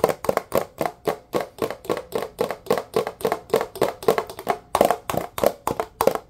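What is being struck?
Plastic dish soap bottle.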